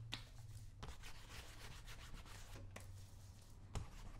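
Fingertips rub in circles over the surface of brown shoe wax in a small, round, open metal shoe polish tin held in one palm. The result is a quiet, steady, dry scratchy rubbing over a low hum, broken by a few sharp, brief clicks against the tin.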